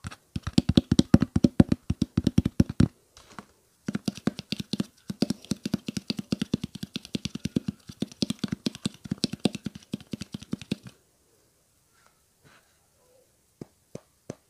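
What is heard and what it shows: Fingertips tap rapidly on the body of a clear, hollow, partly full plastic water bottle with a blue cap. The taps give short, dry, hollow thuds with a low tone around 220 Hz. They come in fast runs with brief breaks near 3 and 5 seconds, stop at about 11 seconds, and a few sparse single taps follow near the end.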